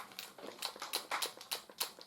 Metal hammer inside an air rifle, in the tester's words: if we shake it around that rattling is actually the hammer inside moving backwards and forwards